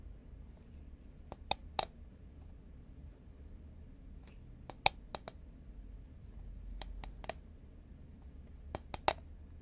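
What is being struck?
Cardboard chip can.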